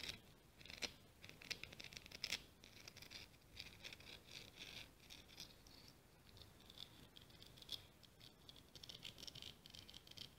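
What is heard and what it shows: Long green-painted nails scratch and tap across the ribs of a small, solid, light orange scallop shell held between the fingers. The result is a quiet, bright, rattling patter of dry scratches and clicks with no ring after each touch, with a few sharper taps standing out early on.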